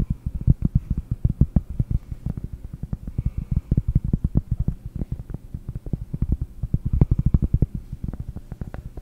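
A round solid cork disc, held with both hands over the microphone, is tapped with long nails. A rapid, uneven stream of dull, muffled taps is heard, deep and thumpy around 140 Hz with almost no bright content. Each tap stops instantly with no ring.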